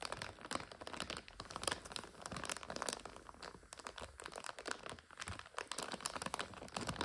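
Long nails squeeze and scratch a full, clear 400 g plastic bag of dry egg noodles with a blue label. The result is a steady run of dense, bright crinkles and crackles, with sharp snaps scattered throughout and little low end.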